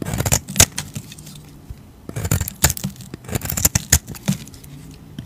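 A utility knife blade carves and scrapes flakes off a solid oval soap bar with a purple outer coating and a cream interior, held in hand. The clip is a series of short, crisp scraping and crackling bursts with bright edges and a soft low body, each dying away almost at once. Quiet gaps separate the cuts.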